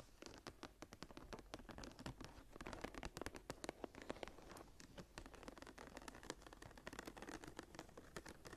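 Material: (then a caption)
Leather. Long nails scratch the cover of a closed brown embossed leather journal with a blue stone cabochon and a metal clasp, lying flat. The result is a steady run of quick, dry scratches and soft clicks with no ring, quiet throughout with brief sharper peaks.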